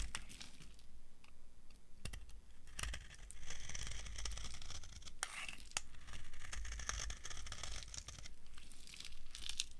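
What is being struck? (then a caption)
Soap bar scraped with a metal knife. A metal knife blade scrapes a solid, dry, translucent brown soap bar. The result is a steady run of crisp, crunchy scraping and flaking with sharp, bright clicks over a low rumble.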